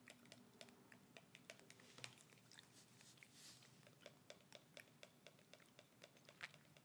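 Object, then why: Small plastic hand-sanitizer bottle. Long red acrylic nails tap and click rapidly on the front and label of a small, flat, dark plastic pocket hand-sanitizer bottle with a white cap, held in a gloved hand and partly full of liquid. The result is a quiet, steady patter of bright, sharp clicks that die away almost instantly.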